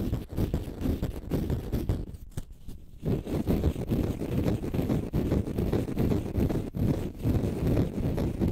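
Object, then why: Konjac sponge. Fingernails scratch a small, porous green konjac sponge puff held in both hands, producing a dense, low, rumbling scratching texture in rapid, uneven strokes. The sound briefly thins and quiets around two to three seconds before the steady rough scraping resumes.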